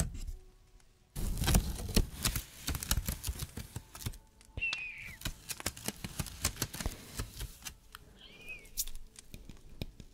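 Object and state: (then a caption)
Layered paper Christmas tree ornament. Fingernails scratch and brush the edges of the paper layers on a small layered, stacked-paper Christmas tree ornament in a little pot, held close to the microphone. The result is a dense run of crisp, dry scratches and rustling ticks with a low rumble underneath. Two brief squeaky sweeps rise above the scratching partway through.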